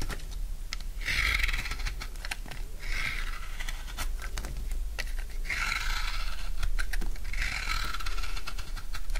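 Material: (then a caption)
Soap. A solid bar of dry blue soap has its edges carved and shaved with a utility knife. Bursts of dry, crunchy scraping and cutting repeat through the clip, each strongest in the mid range with a bright edge, over a steady low hum and many short clicks.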